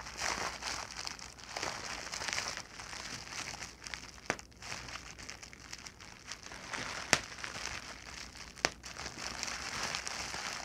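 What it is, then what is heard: Plastic bubble wrap. A large clear plastic bubble wrap sheet with air-filled bubbles is pinched, squeezed and crinkled with fingers and long nails, making a steady bright crinkling and crackling. A few sharp, short pops of bursting bubbles stand out above the rustle.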